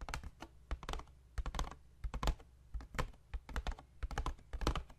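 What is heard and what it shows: Fingertips and short nails of one hand tap and scratch the top face of a hollow white paperboard box held tilted in the other hand. The result is a quick, irregular run of dry, clicky taps with a low, hollow thump under each one and brief bright scratchy edges that die away almost instantly.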